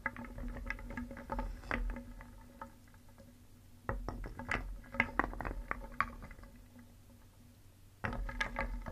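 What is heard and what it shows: A wooden spoon stirs a wooden bowl filled with solid painted wooden cones, balls and discs, and the pieces clack against each other and the bowl. Dry, short clacks with a pitch around 2 kHz come in busy bursts at the start, around 4 to 6 seconds, and again near the end, with quieter, sparser taps between them over a low steady hum.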